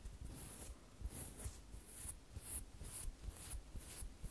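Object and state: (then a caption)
Fabric plush toy. Long false nails scratch and rub the soft, filled fabric of a large light-blue stuffed plush toy. The result is a quiet, steady run of soft brushing strokes, with bright hissy scrapes pulsing in the high frequencies over a low rumble.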